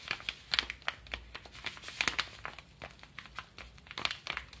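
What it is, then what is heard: Kraft paper padded envelope. Fingertips scratch and rub the surface of a small brown kraft paper padded mailer with a stamp and stickers, lying flat. It makes a quick run of dry, bright, crinkly scratches and rustles, each stopping almost at once, with next to no low end.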